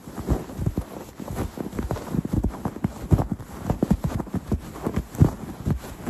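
Fingertips and red-painted nails scratch a stuffed, soft quilted cloth throw pillow embroidered "Autumn Greetings." The sound is a run of dull, low, muffled scratches and soft taps with no ring, rising and falling in uneven bursts over about six seconds.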